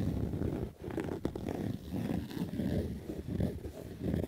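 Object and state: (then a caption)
Fabric baseball cap being scratched. A black Adidas fabric baseball cap is scratched and rubbed with fingertips and nails. The result is a steady, rough, muffled scratching texture, mostly low and dull with little brightness. It dips briefly into near silence about three-quarters of a second in.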